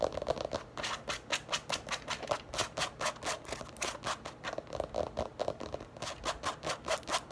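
Long nails quickly tap and scratch the flap of a medium-sized, hollow black leather or faux-leather handbag lying on a table. The result is a rapid, steady run of short, crisp clicks with a hollow mid tone and bright scratchy edges, each dying away almost instantly.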